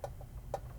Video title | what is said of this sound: Lionel CSA-2 Brass Hybrid Challenger | They're so light, and if you tap on them, they just kind of, it's not that thick die-cast metal. Right. It's not a loud thunk.